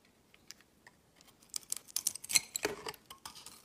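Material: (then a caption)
Soap. A utility-knife blade carves and shaves flakes off a solid oval soap bar with a dark, blue-glitter coating and a white interior, held in the hand. Quiet, dry, bright scraping clicks come in quick, uneven bursts, growing denser and louder midway with sharp crisp snaps before thinning out.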